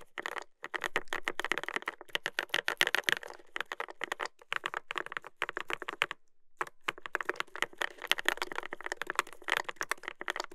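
Fingertips type steadily on a Dolphin 2021 mechanical keyboard with a brass plate and dark plastic keycaps. The result is a rapid stream of short, crisp clacks centered around 2 kHz with bright edges, plus a brief pause a little past the six-second mark before typing resumes.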